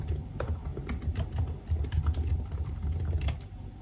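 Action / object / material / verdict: tap / aluminium laptop keyboard with plastic keys / plastic / none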